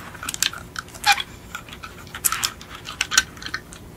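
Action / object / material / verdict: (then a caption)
tap / die-cast metal toy car / metal / none. Long acrylic nails tap and click on the hollow metal body of a small yellow die-cast Beetle model toy car. The result is a loose series of quick, light, bright ticks with almost no ring, centered around 1.4 kHz, over a quiet background.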